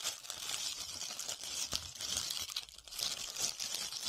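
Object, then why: Glitter-covered foam ball. A hand-sized, solid white foam ball covered in glitter or beads is cupped in both hands and scratched with long red-painted nails. The result is a continuous, dense, bright crinkling scratch with a faint crunch, easing briefly near the middle before picking up again.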